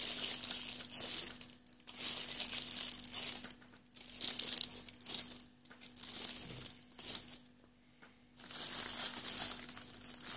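A hand grips, presses and rubs the loose clear plastic film wrapped around a small printed cardboard box holding Sound Intone i68 headphones, working over its top and sides. The film gives off bright, dense crinkling in repeated bursts, broken by short quiet gaps, over a faint steady low hum.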